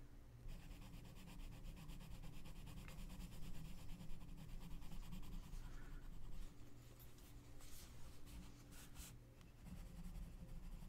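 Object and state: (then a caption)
Paper page scratched with a colored pencil. A gloved hand scratches and rubs the tip of a wooden colored pencil across a mandala page in an open paper coloring book. A steady, soft scratching and rubbing texture runs throughout over a constant low hum, with brighter, brief scratch bursts toward the end. The overall level stays quiet.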